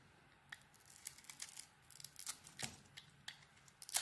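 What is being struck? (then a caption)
Bar of soap. An orange bar of soap with a dotted coating and a translucent core is held in hand and carved with a utility knife blade. Quiet, bright scraping and crisp snapping ticks come in short bursts, with a sharper crunch near the end. Each cut dies away almost at once.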